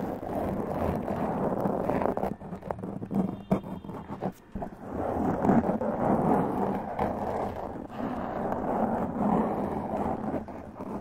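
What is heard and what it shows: Two hands with long press-on nails scratch the black foam windscreen on a large condenser microphone, making a dense, muffled rustling and scraping concentrated in the low and middle range with almost no brightness. The scratching eases and thins out with a few sharp thumps around the middle, then returns at full intensity.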